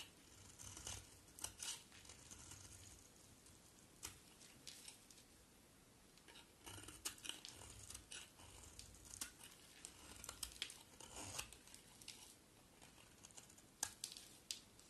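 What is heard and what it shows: A box cutter blade carves and shaves a solid pink and white striped bar of soap, and the flakes pile up. The sound is a quiet series of crisp, bright scraping and crunching strokes, with brief crackly peaks and faint shuffling between cuts.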